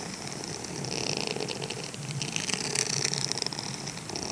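A grey silicone scrubber sponge is held in the hand while fingertips scratch and rub its bristled face. This makes a steady, bright scratchy rustle with quick crackling ticks and a faint low rumble underneath. The sound gets denser and louder in the middle of the clip.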